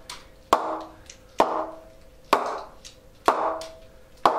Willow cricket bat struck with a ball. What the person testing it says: you can hear that high pitch sound. So the rebound straight out of the packet is not amazing